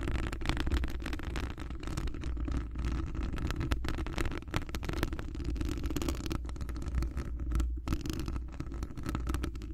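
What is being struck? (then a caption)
Metal wire-mesh microphone grille scratched with fingernails. Long acrylic nails scratch a hollow metal wire-mesh microphone grille, with the fingers wrapped around it. The result is a continuous, dense rumbling scrape of rapid overlapping strokes, heavy in deep low frequencies, with very little high-end crispness.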